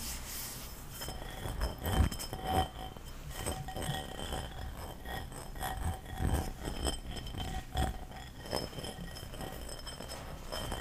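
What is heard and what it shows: Fingernails tap and scratch the outside surface and base of an empty, light-blue textured ceramic bowl, which is held both upright and upside down. Quiet, dull clinks and taps with very short ring mix with soft scratchy rustling, with faint steady high tones running underneath throughout.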